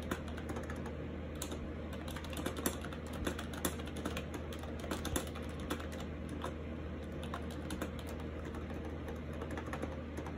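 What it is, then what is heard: Plastic keyboard typing. Fingertips type continuously on a compact gray and white plastic AJAZZ 308i wireless Bluetooth keyboard with round keycaps and orange accent keys, resting on a lap near a monitor. The hollow plastic keys give a rapid, soft clatter of light clicks with occasional sharper taps. A steady low hum sits underneath throughout.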